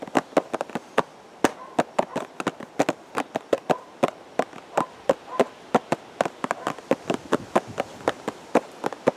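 Fingertips tap a hollow purple and white cardboard teacake box held at the chest, giving 39 quick, dry taps in an uneven rhythm. Each tap is a short, hollow mid-pitched knock around 540 Hz that stops almost at once, with no ring, over a faint steady hiss.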